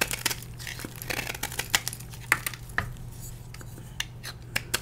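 A solid blue and white dyed gym chalk block, held in the hand, is scraped with a metal blade so flakes break off. Dry, gritty scraping is punctuated by a run of sharp, bright snaps and crackles over a steady low hum.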